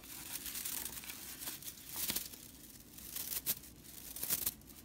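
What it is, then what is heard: Straw whisk broom bristles. A long purple fingernail flicks and scratches the dense, dry straw bristle ends of a broomcorn straw whisk broom. The result is a steady, bright, crackly rustle with sharper dry snaps in brief louder bursts, and almost no low end.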